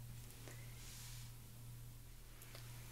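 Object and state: Nothing is struck.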